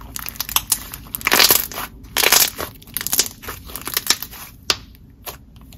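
A palm-sized blob of soft, opaque lavender purple butter slime is squeezed and pressed between both hands on a marble table. It gives off quiet, bright squishing and crackling with many sharp little pops, plus two longer hissing crunches near the start.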